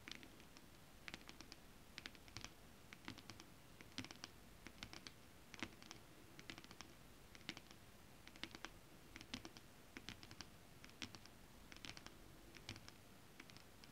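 Long acrylic nails on both hands scratch and tap across a flat holographic mermaid scale-print fabric. Quick, bright, dry clicks and scratches come in irregular bursts over a steady, soft low hiss, each hit dying away almost instantly.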